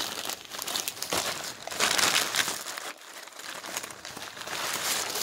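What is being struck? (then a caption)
Glossy printed paper flyers. Fingertips riffle through a pile of thin, glossy printed advertising flyers resting on a wooden surface and crumple the leaflets. The result is a bright, dense crinkling and rustling with irregular papery crackles, a louder crumpling burst near the middle, a brief quieter lull, then steady rustling again.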